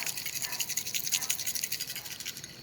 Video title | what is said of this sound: Replaceing parts on the 89 Chevy celebrity part 2 | there's crap inside it's rattling so it's just pure junk